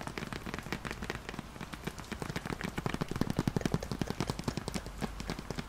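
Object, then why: Ceramic plant pot. Long nails tap and scratch the outer wall of a medium beige ceramic (possibly concrete) plant pot holding a small artificial green plant, held in both hands. The result is a dense run of short, dry, low-pitched clicks and scrapes with no ring, picking up in loudness midway through.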